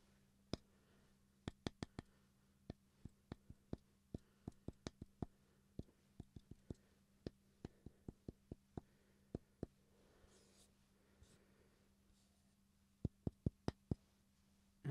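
Fingertips and nails tap on the face of a small solid wooden block shaped like a smartphone, held in both hands. About 29 sharp, dry clicks die away almost instantly over a steady low hum, with a quiet pause in the middle before a final quick burst of taps.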